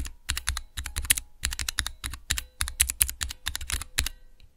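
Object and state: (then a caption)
Plastic mechanical keyboard switch tester. Fingertips type fast on a small, hollow plastic switch tester with clear plastic keycaps over Cherry MX switches. The result is a rapid run of short, clacking keystrokes, each pairing a low thump with a bright click and dying away almost instantly, grouped in quick bursts with brief pauses.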